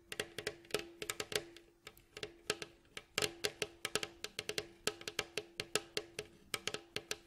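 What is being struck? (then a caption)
Wooden mandolin bowl back. Fingertips and nails of both hands tap and scratch across the staves of a hollow, striped, varnished wooden mandolin bowl back. About 37 quick, dry knocks ring out, bright and clicky, each over a faint hollow tone near 400 Hz, with soft scratchy rasps between them.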